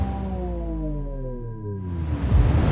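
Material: Nothing is struck.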